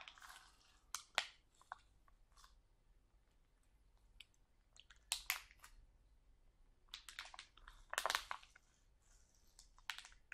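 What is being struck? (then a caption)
Sealed plastic bag of sauerkraut. A full, sealed plastic package of sauerkraut rests on a table while fingertips squeeze it and nails scratch across the plastic. Bright, crisp crinkling and scratching come in irregular bursts, with sharper crackles near the start, middle and end and quiet pauses between.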